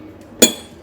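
A hammer strikes a dense, heavy zirconia ceramic plate once, producing a single sharp, bright clink with a brief high-pitched ring that fades within a fraction of a second. The plate stays unbroken.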